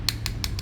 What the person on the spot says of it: ini saya ketuk-ketuk materialnya full plastik